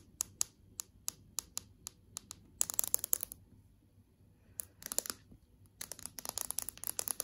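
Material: Glass.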